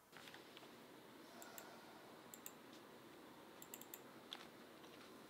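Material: Plastic.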